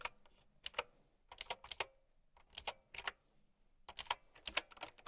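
A mint-green typewriter-style mechanical keyboard with round plastic keycaps is typed on with long nails and fingertips. The bright, crisp clacks come in quick bursts separated by short pauses. Each click stops almost instantly, with almost no low end.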